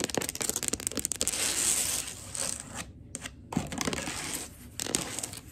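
Long gold acrylic nails tap and scurry across a wood-look laminate floor toward the camera. Rapid, bright clicks mix with a dry, scratchy rustle, then a brief near-silent pause comes before more sharp taps and scraping.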